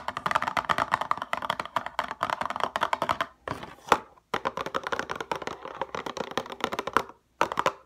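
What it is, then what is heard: Cardboard cosmetic box. Long fingernails tap rapidly on a hollow paperboard RoC night cream box with a window, lying on its side. The taps are crisp, dry, clicky and hollow-sounding, centered in the midrange with almost no low end and no ring. They come in quick bursts with brief pauses near the middle and end.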